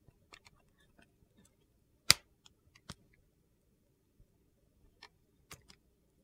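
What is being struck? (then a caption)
Translucent glycerin soap bar cut with a metal blade. A metal blade shaves thin slices off the face of a solid, translucent purple glycerin soap bar. Sparse, faint, crisp clicks sound over near silence, with one louder, sharper crunch partway through and a few soft, bright ticks after it.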